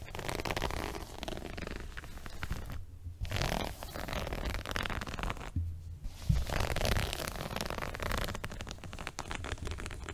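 Fingers scratch and rub the surface of a multicolored woven fabric rug near its top edge while the rug is held up in front of the body. The result is a continuous dense, crackly rustling with a low rumbling undertone, broken by two brief quieter gaps.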